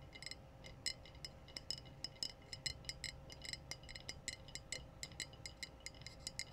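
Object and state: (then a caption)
Glass bottle. Glass bottles are tapped in a quick, irregular series of bright clinks, each ringing briefly with a clear high tone. A faint low hum and a steady background hiss sit underneath the taps.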